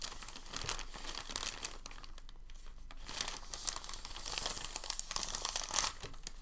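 A thin, crinkled sheet of packing paper is held in both hands and folded and creased with the fingers. It makes a steady, quiet stream of bright, papery crinkles with a few sharper crackles, and each crackle dies away almost instantly.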